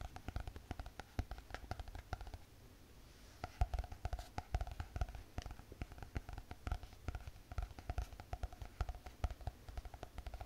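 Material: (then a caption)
Cardboard. Long painted fingernails tap fast on the hard cardboard cover of a closed spiral notebook. The result is a dense run of short, dry taps with a deep thudding body and a faint hollow tone, pausing briefly near the middle before resuming at the same quick pace.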